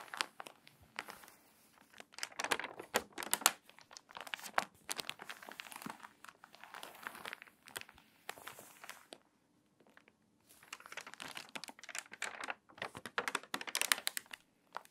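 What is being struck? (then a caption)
Paper magazine pages. Hands rub the stiff, crinkled pages of a water-damaged paper magazine flat and flip several pages, producing dense, bright crinkling and rustling with sharp crackles. A brief quiet pause falls in the middle before the crinkling resumes.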